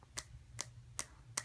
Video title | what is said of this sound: OnePlus One Unboxing + First Look! | it's got that plastic uh nice feel to it. You know, kind of sounds like this.